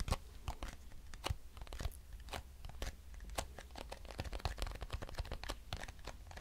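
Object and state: Cardboard box.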